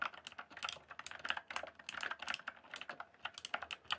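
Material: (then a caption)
Plastic. Fingertips type rapidly and densely on a rainbow-backlit mechanical keyboard with plastic keycaps. The result is a steady stream of quick, crisp clacks with a bright upper edge and almost no low end, each keystroke dying away almost instantly.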